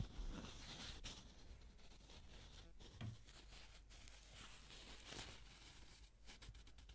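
A single folded yellow paper banknote is crinkled and rubbed between black-gloved fingers. The result is quiet, continuous papery crinkling and rustling with a bright hiss, broken by a few slightly louder crackles over a faint low rumble.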